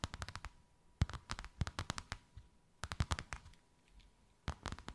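Long white acrylic nails tap and scratch a thin white faux-leather sheet with a snakeskin emboss, draped over something rounded. Quick bursts of dry, clicking taps arrive in clusters separated by short pauses. Each tap is crisp and dies away almost instantly, with a soft low thump underneath.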